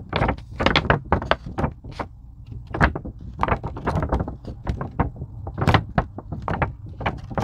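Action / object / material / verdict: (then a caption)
scrape / thin EVA foam craft sheet / EVA foam / none. Long pink acrylic nails scratch and tap the surface of a thin, flexible purple-blue craft foam sheet, likely EVA, lying flat on a white table while the sheet is bent slightly. A quick, irregular run of dull, low-heavy taps with short bright scratchy edges stops dead after each touch, with soft rustling scrapes in between.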